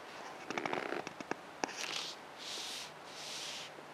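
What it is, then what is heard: Leather-wrapped steering wheel, tapped and scratched. A leather-wrapped steering wheel rim in a Geely Atlas Pro is gripped, scratched and tapped with fingertips and long nails. Sharp crackly taps cluster in the first 1.7 seconds. They are followed by three longer, soft hissing scratches.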